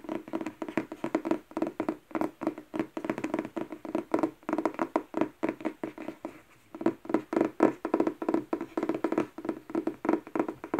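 Long painted nails tap and scratch the glossy cardboard front and back covers of a thick paperback novel, a solid paper block held upright on a wooden table. Quick, dry, hollow taps with a mid, papery tone around 320 Hz come in rapid, uneven bursts, with a brief pause just past the midpoint before the tapping resumes.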